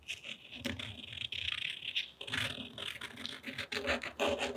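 A purple acrylic paint pen tip is drawn across a sheet of thick, textured cotton rag paper painted in gouache and lying flat on a table. It gives a fine, scratchy rub with a bright, hissy tone. The strokes rise and fall in a steady back-and-forth rhythm.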